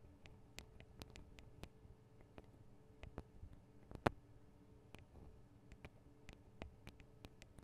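Long acrylic nails tap the small hollow metal microphone capsules, with their metal guard wings, on a Tascam DR-40 recorder. About nineteen short, dry clicks come at an uneven pace over a faint low hum, with one louder, sharper tap midway. Each tap dies away almost instantly.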